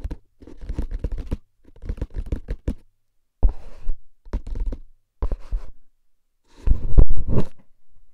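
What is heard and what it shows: A hollow paper-wrapped cardboard tube can, held upright, has its lid and sides tapped with fingertips and its side scratched with nails. Bursts of quick, dull, low knocks mix with papery scratching and come in separate groups with short silences between them. The last group is the loudest.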